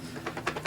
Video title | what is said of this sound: Oh gnome you don't Review with Geekedupgaming | you can hear stuff moving in there